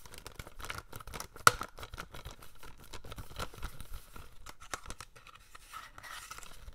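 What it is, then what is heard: Plastic DVD case. A hollow plastic DVD case for The Day After Tomorrow, held in both hands, is lightly tapped and scratched with fingernails. Quiet, dry clicks and scrapes come with a faint tone around 1.3 kHz, and one sharper tap near 1.5 seconds stands out.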